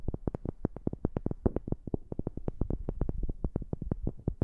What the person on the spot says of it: 05:14 Wood Tapping